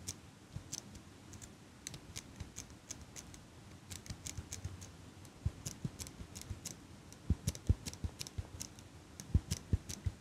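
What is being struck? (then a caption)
Metal eyelash curler. A small metal eyelash curler is held in one hand while long pink nails click its handles open and shut and tap its metal frame. Quiet, irregular bright clicks and soft low taps follow one another steadily. The taps grow a little louder and sharper toward the end.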